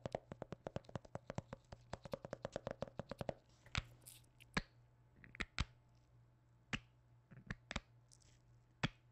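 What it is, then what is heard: Plastic hand cream tube. Black-gloved fingertips tap and knock on a hollow white plastic hand cream squeeze tube with a blue cap. A rapid run of quick, dry taps with a hollow mid-range tone fills the first three seconds, then slows into sparse, sharper knocks with bright clicky tops. A faint steady low hum sits underneath throughout.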